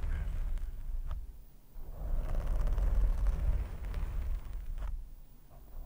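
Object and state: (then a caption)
Foam microphone windscreen being scratched and rubbed. Fingertips scratch, grip and rub a black foam windscreen on a microphone. The result is a deep, muffled rumbling crackle that swells louder in the middle and then fades, with almost no high-end content.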